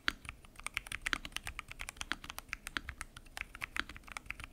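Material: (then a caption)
Plastic. Fingertips type continuously on a full-size mechanical keyboard with lubed switches, pink and mint PBT keycaps and a transparent acrylic case. A rapid, steady stream of short, crisp clacks with a bright upper edge and very little low end, each keystroke stopping dead with no ring.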